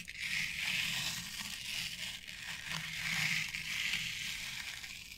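Long acrylic nails scratch and rub through the fibers of a flat board covered in short synthetic turf. The result is a steady, bright, crackly rustle concentrated in the high frequencies, swelling and easing in waves without clear separate strikes.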